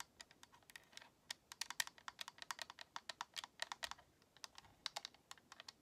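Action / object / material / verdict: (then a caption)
tap / plastic game controller / plastic / none. Long nails tap and scratch across the front face and buttons of a white, hollow plastic Xbox controller. About 34 quick, bright, dry clicks come in an uneven, rapid stream, each dying away almost instantly with no low end. It sounds much like fast typing.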